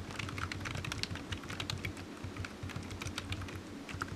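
One hand types steadily with its fingertips on a low-profile black plastic computer keyboard with hollow keys, resting on a patterned desk mat. The repeated light taps make quick, bright, clicky sounds that stop sharply, over a steady low hum.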